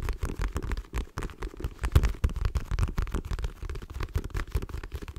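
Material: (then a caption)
Faux leather. A dark patterned faux leather wallet held in one hand is tapped and scratched with long nails. Fast, continuous, dull tapping with soft scratching sounds low and thuddy, with short, dry hits that die away almost instantly.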